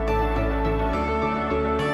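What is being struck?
Nothing is struck.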